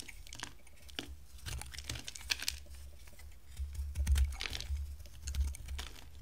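A box-cutter blade shaves and carves a solid, hand-sized white soap bar with a teal layer. The clip is a steady run of crisp, dry scrapes and clicks with brief bright flicks as shavings come away. A dull low thump underneath swells louder in the second half.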